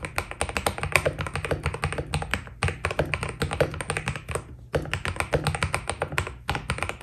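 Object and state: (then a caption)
Mechanical keyboard with PBT plastic keycaps. A white full-size Keydous NJ80 mechanical keyboard with PBT plastic keycaps on a steel plate, foam inside and a solid body, sits on a desk while the fingertips of both hands type fast on the keys. Rapid, short, bright clacks come in quick runs, each with a low thock underneath. A few brief pauses break up the flurries.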